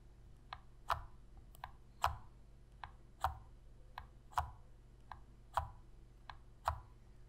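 Long red fingernails tap and press the buttons of a hollow black plastic Sony PS3 controller held in both hands. Twelve short, dry clicks with a midrange ring near 1 kHz alternate between softer and louder taps at an uneven pace. Each tap dies away almost at once over a low, quiet background hum.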